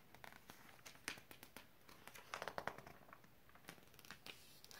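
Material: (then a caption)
Glossy paper. A hand lifts and turns a thin glossy page of an open glossy paper magazine, curling and crinkling it over. Soft, dry crackles and short bright rustles come in quick, uneven bursts, with a denser cluster of crinkles midway, over a quiet background.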